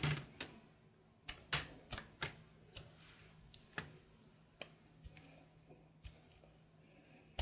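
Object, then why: Solid soap bar cut with a knife. A grey solid soap bar held in the palm is sliced with a red-patterned knife, and chunks break off. About 14 sharp, crisp cuts and snaps come at an uneven pace, each with a bright, short crack that dies away quickly. A faint, steady low hum runs underneath.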